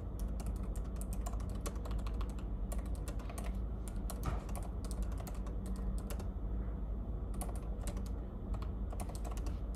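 Fingertips type steadily on the plastic keys of a silver laptop keyboard, producing quick, bright clicks in uneven bursts with short pauses. A constant low hum sits beneath the tapping throughout.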